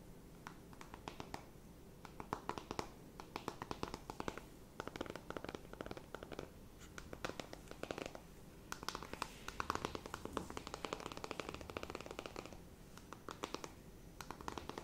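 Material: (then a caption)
Cardboard. Long nails scratch and tap across the cover and edges of a small, flat, rectangular cardboard eyeshadow palette with a hollow, printed cardboard case. The sound comes as quiet, dry bursts of crisp scratching, centered around 1.1 kHz with a bright edge, and short pauses between strokes. Each stroke ends without ringing.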